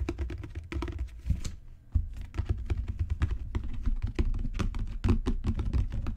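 A solid dark brown genuine leather book cover with raised spine bands is rapidly tapped with fingertips and long natural nails. The result is a quick, uneven patter of dull, low thuds with short, bright nail clicks on top. The tapping pauses briefly just before the two-second mark, then resumes.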